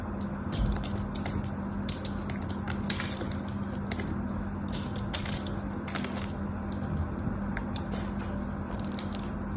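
A small, solid white bar of soap, held in fingers with long orange nails, is shaved with a metal craft knife blade so thin flakes curl off its surface. Quick, bright, crisp scraping crackles come in scattered bursts over a steady low hum.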